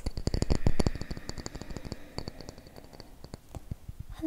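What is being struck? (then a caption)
Small round wooden box. A palm-sized round wooden disc-shaped box or coaster, held in one hand, is tapped and scratched with fingertips and short nails. The result is a quick, irregular run of dry, short clicks and taps with soft scratching between them, louder in the first second and then quieter. The taps carry little ring and a low thump beneath the bright clicks.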